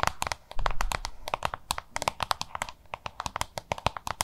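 Long nails tap and scratch the front of a small, hollow, oval yellow-green plastic lunch box. A rapid string of sharp, clicky taps with bright ticks and a hollow plastic knock. A rougher, louder stretch of scratching and handling comes early, and each tap stops almost instantly.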